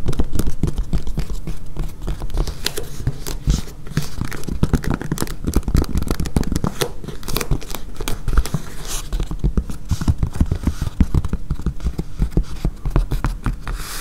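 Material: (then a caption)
Foam. Long nails rapidly tap and scratch across a flexible, solid blue and yellow foam mat with a blue grid top, resting on a table with one edge slightly lifted. The result is a dense, continuous patter of short, dull, low thuds mixed with soft scratchy crinkling. Each tap dies away almost instantly.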